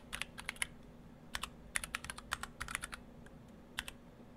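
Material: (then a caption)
Plastic. Fingertips of both hands type on a stock Orthodox Rev3.1 split ortholinear mechanical keyboard, built in two halves with clear acrylic cases, white and cyan PBT dye-sub keycaps and Gateron Brown switches. About eighteen short, sharp, bright clacks come in irregular bursts with brief pauses between them. They sit over a faint, steady low hum.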